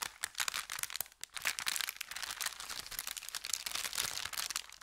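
An empty, thin brown kraft paper bakery bag with red print, flattened on felt, is held at both ends and crinkled and twisted by hand. The result is a dense, continuous run of bright, crisp crinkles and sharp crackles with almost no low end, rising and falling in bursts throughout.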